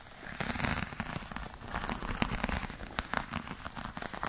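Long nails scratch the scaly surface of a hollow black glossy croc-embossed patent faux leather clutch, making a dense run of quick, dry crackling scrapes and taps. The texture is sharp and papery, like rain spattering or firecrackers popping, with brief louder clicks over a steady scratchy hiss.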